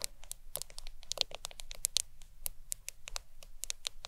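A black smartphone lies flat on a towel while long acrylic nails tap and scratch its glass screen. The result is a quick, irregular stream of sharp, dry, bright clicks with no ring, layered with faint scratchy friction over a low, steady background hum.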